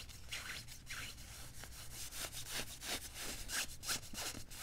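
Fingertips and nails quickly scratch and rub the padded sleeve and cuff of a worn beige quilted nylon puffer jacket. Bright, hissy swishes and scratches come in fast, uneven bursts over a steady low rumble, each stroke fading quickly.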